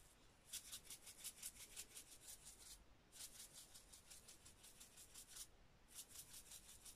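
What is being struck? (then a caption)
Plastic spice shaker filled with dried herbs. A small clear plastic spice shaker with a red cap, filled with dried green herbs, is held in one hand and shaken while fingers rub its surface. It makes quick, bright, hissy rattling bursts in three runs separated by short pauses.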